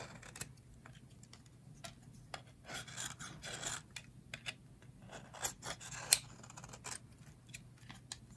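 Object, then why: Soap bar scraped with a metal blade. A metal blade cuts and scrapes slices off a thin, solid yellow slab of dry soap held in the hands over a pile of shavings. Quiet, bright crisp cuts and scratchy scrapes come in short separate bursts, with a faint low hum running underneath.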